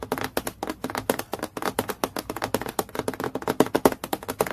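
Fingertips and long nails tap quickly on a transparent, clear acrylic plastic clipboard lying flat, making about 28 crisp, dry clicks in a fast, uneven rhythm. Each tap is short and mid-pitched, with a slight hollow plastic tone and no ring after it.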